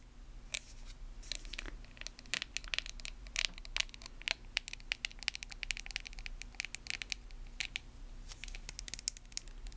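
Long acrylic nails tap and scratch a small, hollow, lidded white plastic face mask jar with a label. Rapid, sharp, bright clicks with no ring-out mix with softer scratching over a faint, steady low hum.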